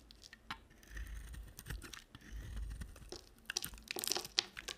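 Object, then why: Bar of soap. A small black-handled knife shaves and scrapes curls and flakes off a palm-sized solid white bar of soap with a red and white printed coating, held in one hand with long black nails. Soft, dry scraping and crinkly shaving sounds build and fade, broken by sharp, bright crunches and clicks toward the end.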